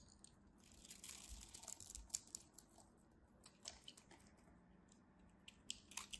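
A metal craft knife cuts cubes and flakes from the surface of a solid cream soap bar. It makes quiet, bright, crisp crunching and scraping sounds with soft tearing textures and a few sharper cracks as pieces break away.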